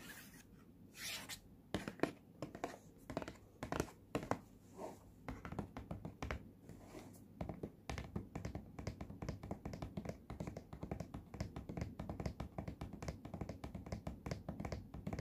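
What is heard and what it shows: Fingertips and nails tap and scratch the front face of a small, rectangular, printed cardboard retail box for in-ear headphones, which is hollow and closed. Quiet, dry, hollow taps with very short decay start out spaced apart and soft scratching drifts between them. From about eight seconds the taps turn into a rapid, continuous patter.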